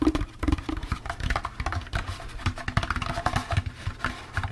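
Fingertips tap quickly and unevenly on the sides and rim of a hollow, empty orange plastic jack-o'-lantern candy bucket with a wire handle. The result is a dense patter of soft, hollow, low knocks that die away almost instantly, with faint brighter clicks on top.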